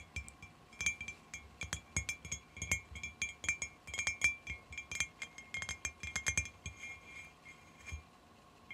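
Long fingernails tap and click along the top of a long, clear glass bottle or tube lying on its side on carpet, empty except for a small decoration inside near one end. The result is an irregular run of quick, bright glassy clinks with a short ring near 2.4 kHz, like a wind chime.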